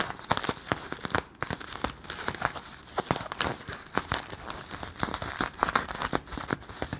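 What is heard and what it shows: Fingertips and nails squeeze and crinkle an empty, palm-sized Bloonies bubble made of clear, hollow, sticky plastic film. A dense run of sharp crinkles and sticky crackles sits over a bright, steady hiss, with quick clicks that die away almost instantly and most energy in the mid and high range.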